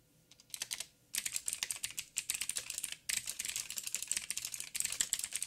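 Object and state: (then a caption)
Plastic mechanical keyboard being typed on. Fingertips of both hands type rapidly on a backlit 87-key mechanical keyboard with plastic keycaps and clicky blue switches. Dense bursts of sharp, bright clicks come in quick runs, broken by brief pauses, with almost no low end and no ring after each keystroke.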